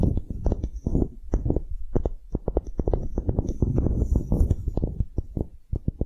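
Long nails scratch and tap the faces and edges of a small, solid light-wood block engraved "relax" with a string loop, held in the hands. A rapid, uneven stream of short, dull, low-pitched taps and scratchy rubs follows, each dying away almost at once with no ringing, and a faint high hiss drifts in partway through.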